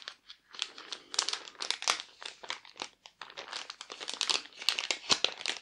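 A thin clear plastic sleeve lies flat on a table, holding a pink patterned fabric glove over a white hand-shaped insert. Bare fingertips handle, press and rub it, which makes a continuous run of bright, crisp crinkling. The crackles come in quick bursts with no low end.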